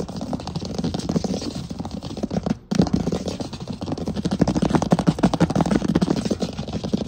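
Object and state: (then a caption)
Wooden floor. Fingertips and nails of both hands scratch and tap fast on a flat, solid wood floor, possibly laminate. The sound is a dense, irregular patter of short, dry taps over a low, rough scratching, with a brief pause near the middle before the tapping picks up again. It sits mostly in the low range, with little bright content and almost no ring after each tap.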